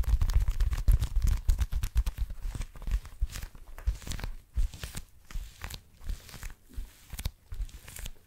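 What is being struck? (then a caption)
Small leather wallet. Long nails tap and scratch the flat surface of a small blue leather wallet held close to the mic. Rapid, irregular dry taps with low thumps and crinkly scratching are dense at first, then thin into sparser, quieter taps.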